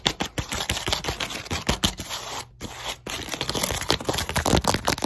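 Long white acrylic nails on both hands tap and scratch fast across the broad flat top of a brown corrugated cardboard box lying flat, which sounds hollow. Quick, dry clicks and papery scratching run almost without pause, with bright hiss, a brief hush in the middle, then a louder, denser flurry toward the end.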